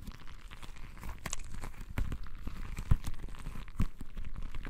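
A palm-sized, soft, full, translucent rubber stress ball filled with colored gel water beads is held in both hands, squeezed and rubbed with the fingertips. It makes continuous sticky, squelching crackles and crinkles over a deep, low rumble, with a few louder wet squishes standing out.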